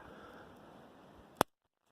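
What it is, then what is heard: Dry twig. A dry wooden twig, gathered for a fire, is snapped by hand after about a second and a half of faint low background noise. It gives a single sharp, crisp crack with a near-instant decay and no ring. The crisp snap shows the twig is dry despite recent rain.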